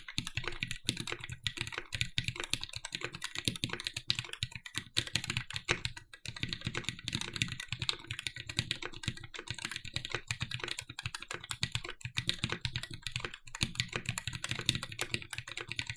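A compact red-cased TGR 910 SE mechanical keyboard with Cherry MX "Vintage" Black switches, an aluminum plate and black plastic keycaps is typed on continuously with the fingertips of both hands. The result is a steady, dense stream of short, crisp keystroke clicks with a bright top and a low thock beneath each press, every one dying away almost instantly.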